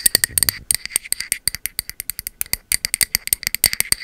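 A peach matte ceramic cylindrical candle vessel with a bamboo lid is held sideways while its body is tapped with long metal finger-claw nail caps. It makes a rapid, uneven run of dozens of sharp, dry clicks, bright and high with almost no low end. Each tap dies away instantly.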